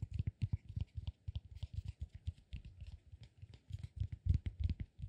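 Fingers and nails grip and scratch a solid, peanut-shaped cork massage ball. The result is a quick, irregular stream of soft, dull scratches and taps, each with a low thump and a faint, bright crackle, dying out almost instantly with no ring.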